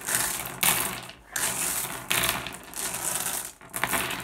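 A pile of small, solid, blue, iridescent, flat glass gems on a wooden surface is raked and shuffled by fingertips. The sound is a bright, dense clatter of clicking and rattling glass that comes in several swells, with brief lulls between the strokes.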